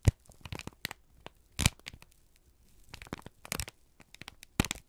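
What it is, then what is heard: Crumpled kraft paper. A single thin, crumpled sheet of brown kraft paper, held in both hands, is squeezed and crinkled with the fingertips and thumbs. It makes irregular bursts of dry, crackling rustle with sharp bright snaps. The loudest crackles come near the start, around the middle, and near the end.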